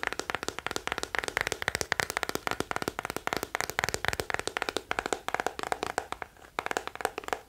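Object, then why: Hollow plastic scalp massager brush. A small teal plastic scalp massager with a hollow hard shell back is held in one hand while the fingertips and nails of the other hand tap on its back. The result is a rapid, uneven stream of sharp, dry plastic clicks with a hollow midrange tone and no ring.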